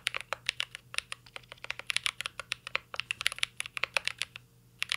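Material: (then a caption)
Plastic, aluminum. Fingertips type continuously on a mint-green Cyberboard R3 mechanical keyboard with plastic keycaps and an aluminum case, producing about thirty quick, bright clacks with almost no low end. Each keystroke is crisp and dies away almost instantly, and the rapid run of taps stops in a short pause near the end before typing resumes.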